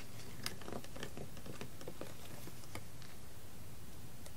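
A hollow, largely empty blue PET plastic water bottle lying on a carpet is tapped and scratched along its curved side with fingertips and long red nails. The result is a quiet patter of light, crisp clicks and scrapes over a steady low rumble.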